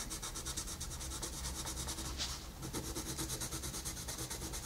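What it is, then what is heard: Pencil colouring on a paper page. A wooden colored pencil rubs and scratches continuously across a thin paper page of a coloring book lying flat, coloring in a wolf's face. Quick, rhythmic back-and-forth strokes make a bright, papery scratching over a steady low hum, with a brief brighter swell near the middle.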